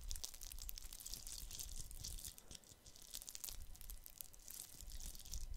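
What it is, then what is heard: Glitter-coated plastic Christmas bauble. A fist-sized, hollow, red glitter-coated plastic Christmas bauble is held in both hands and scratched with fingertips and nails. It makes a dense, steady scratchy crackle with bright, gritty detail over a low rumble. The sound dips quieter briefly in the middle before picking back up.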